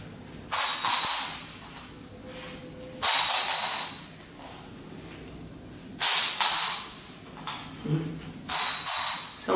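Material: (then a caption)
Carbon fiber. A light carbon fiber guitar saddle is dropped onto the floor four times, each impact giving a bright, high metallic ring that fades over about a second. It rings lively like metal rather than sounding dead like a bone saddle, because the lighter material transmits sound faster.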